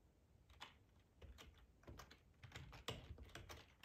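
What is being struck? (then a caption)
Plastic computer keyboard. Fingertips type on a black plastic ergonomic split keyboard with a hollow housing, resting on a cloth tablecloth. About fifteen soft, quiet keystrokes come in an uneven run, each a short hollow low thud with a bright tick on top that dies away quickly.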